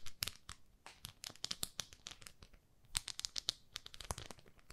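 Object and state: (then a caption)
Plastic facial cleansing pad. Long nails scratch and tap the textured grid surface of a small, flat, palm-sized pink plastic facial cleansing brush held in both hands. The result is a rapid run of crisp, dry scratches and clicks, bright and crinkly in tone, with quick bursts that stop sharply and leave no ring.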